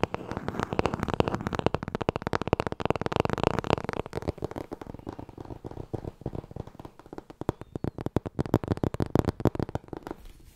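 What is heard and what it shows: Fingers riffle the gold page edges of a thick, solid black hardcover book while long nails tap its cover. The result is a dense stream of fast, dry taps and crackly flutters with a warm, low-mid body. The activity is busiest in the first four seconds, thins out in the middle, and swells again near the end.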